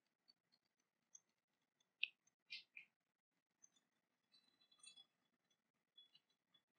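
An ornate silver-coloured cast-metal dragon dagger, sheathed and lying on a fabric cloth, is tapped and scratched with long painted nails. Quiet, sharp, high-pitched clicks and ticks sound with no ring, alongside a few brief, brighter scratchy bursts and a faint metallic shimmer.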